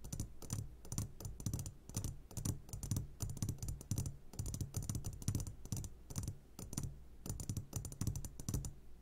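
A medium glass jar full of sugared gummy candies, turned upside down, is tapped on its sides with the short fingertips of both hands. The result is a quick, irregular run of dry, bright clicking taps that die away almost at once, over a steady low hum.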